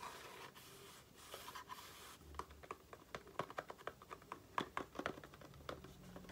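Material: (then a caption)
Cardboard. A small, hollow cardboard Aloe face-cream carton is turned in the hands while long nails scratch across its printed surfaces, giving a soft, breathy scraping for the first two seconds. The nails then switch to a quick, uneven run of crisp, dry taps with a light hollow tone around 1 kHz, each dying away almost instantly, mixed with faint scratches between them.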